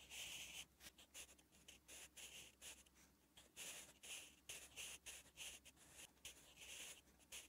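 A sharpened wooden graphite pencil is drawn across a thin, flat lined page of a spiral notebook, writing Korean letters. Quiet, bright, dry scratching comes in short bursts of strokes with brief pauses between them.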